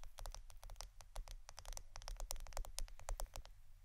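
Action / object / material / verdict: tap / plastic adhesive tape roll / plastic / none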